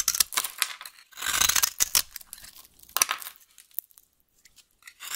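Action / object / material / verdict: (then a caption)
scrape / bar of soap / soap / none. A dry, solid yellow vintage soap bar held in the hand is scraped and carved with a utility knife blade, and the shavings fall onto the table. Bright, crisp scraping and crackling strokes come in bursts, with short sharp ticks between them. The sound then thins out to quiet gaps.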